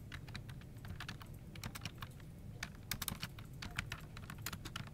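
Fast two-handed fingertip typing on a full-size plastic office keyboard resting on a desk produces a dense stream of short, bright plastic key-tap clicks. The clicks die away almost instantly over a steady low hum.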